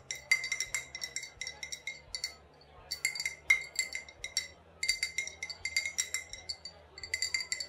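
An old glass bottle with a faded sticker, holding either vodka or rubbing alcohol, is tapped and clinked repeatedly. The bright, short clinks ring with a clear tone around 2.1 kHz and come in quick, uneven bursts separated by brief pauses.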